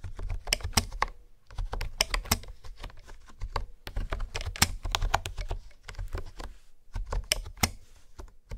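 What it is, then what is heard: Plastic keyboard being typed on. Fingertips and nails tap the hexagonal keycaps of a hollow pink plastic honeycomb keyboard resting on a wooden table. The result is a steady run of quick, clicky taps with bright, sharp attacks over a hollow low thump, each one dying away almost at once, with brief pauses between bursts of typing.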